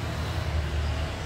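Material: Nothing is struck.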